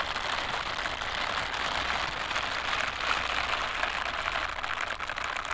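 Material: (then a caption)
Silicone. White silicone dishwashing gloves with bristle scrubber pads, worn on both hands, rub and pat against each other. The result is a steady, dense rustling and scratching hiss that is brightest in the mid and high range, with soft pats scattered throughout.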